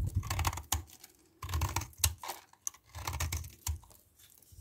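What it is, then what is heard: Bar soap being scraped. A metal knife blade scrapes and shaves a small solid white DURU bar soap, letting soap dust fall away. Short bursts of crisp, crackly scraping with sharp bright clicks ride over a soft low thud, separated by brief quiet gaps.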